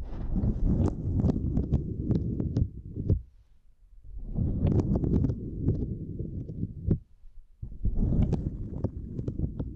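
Two index fingers with long nails tap and scratch a small, flat purple silicone grid mat resting across a microphone. The result is a dense, muffled low rumble of scratching dotted with sharp, bright clicking taps. It comes in three bursts separated by two brief, near-silent pauses.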